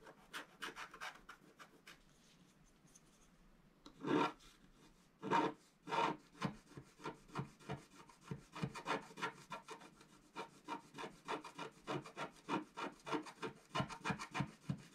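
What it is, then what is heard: Scratch-art card being scratched. A wooden stylus scratches a thin, flat scratch-art card with a black coating in short strokes while the other hand holds the card. Soft, faint scraping comes first, then a few louder, sharper strokes, followed by a steady run of quick, dry, rasping scratches with a bright papery edge and little low end.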